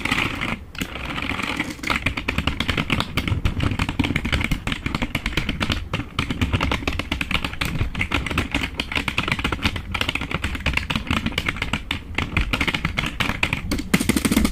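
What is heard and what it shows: Fingertips rapidly tap the keys of a black plastic membrane keyboard held from below, producing a dense, nonstop stream of short, dry plastic clicks. The clatter stays steady throughout, with a low thump under the bright key clicks.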